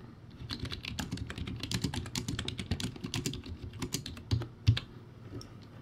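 Fingertips type on a low-quality plastic typewriter-style keyboard with backlighting and round white plastic keycaps. A rapid, steady run of clicky keystrokes gives bright clacks over a hollow low thump, ending with two louder, harder presses near the end before the typing trails off.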